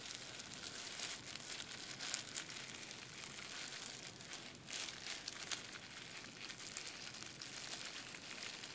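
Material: Plastic.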